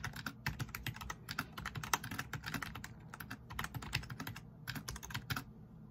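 Fingertips type rapidly on the keys of a black plastic backlit RGB membrane keyboard resting on a wooden desk. Dozens of quick, dry keystrokes blend a soft low thump with a bright plastic click, each dying away almost instantly. The taps come in uneven bursts with brief pauses, at a quiet, close level.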